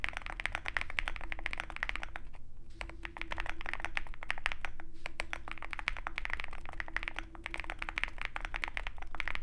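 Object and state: Mechanical keyboard typing.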